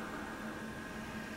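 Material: Nothing is struck.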